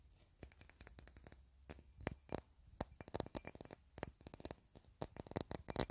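A glass plate, used as a candle holder or coaster to keep wax stains off a wooden TV cabinet, is tapped in quick, irregular bursts. Each tap is a soft, bright click with almost no ring, with quiet gaps between the clusters.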